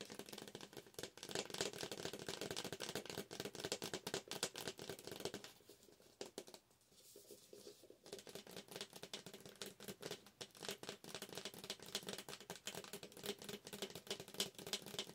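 A medium yellow McCafé paper coffee cup, hollow, with a plastic lid and straw, is held up in both hands and tapped quickly on its sides with long acrylic nails. The result is a rapid, continuous patter of short, dry, bright clicks with a faint papery ring. The tapping softens and thins for a couple of seconds midway before returning at full pace.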